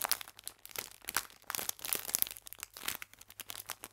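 An elongated clear plastic film pack full of sour cherry biscuits is squeezed and crinkled with fingertips and long painted nails. Dense, bright crackles and crunches come in quick irregular bursts, dry with almost no low end or ring. Quiet gaps between the bursts vary throughout.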